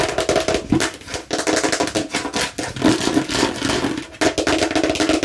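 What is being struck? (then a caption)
Hard plastic watermelon-slice container. Long nails quickly and vigorously tap and scratch a hollow hard plastic watermelon-slice container, working over its green back and red front sides. The result is a dense stream of dry, hollow clicks with a mid-pitched plastic tone and a bright, scratchy rasp. Each hit dies away almost instantly.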